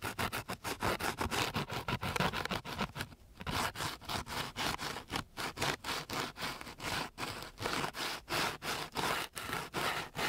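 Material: Sandpaper.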